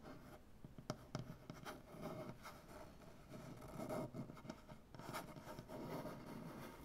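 One hand's fingernails scratch and tap on a large, solid wooden butcher-block tabletop. Soft, dry scratching and rubbing textures are broken by short, sharp taps with a low, woody body and almost no ring. The overall level stays quiet.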